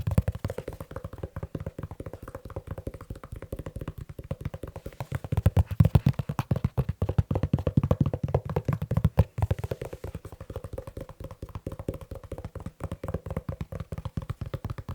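Fast tapping on a leather shoe, with no talking. The dull, low taps fall in a rapid, steady stream with very short decay, growing louder from about 5 to 9 seconds before settling back to a softer pace.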